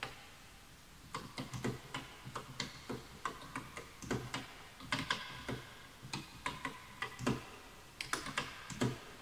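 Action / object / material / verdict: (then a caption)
tap / wooden computer keyboard with bamboo keys / bamboo wood / none. Both hands type quickly with their fingertips on a full-size bamboo wood computer keyboard with wooden keys, while the mouse goes untouched. After a quiet first second, a fast, uneven run of dry, hollow taps follows, each a bright click with a soft low knock that dies away almost at once.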